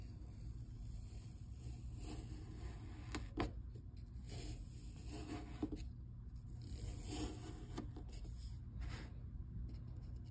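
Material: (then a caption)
Kinetic sand. A hand-sized solid cylinder of purple kinetic sand is sliced and scraped along its side with a white plastic scraper, and the sand crumbles away. Soft, gritty scraping and crumbling sounds come and go over a steady low hum, with a few brief sharper scrapes. At the end, fingertips with long nails press the cut face.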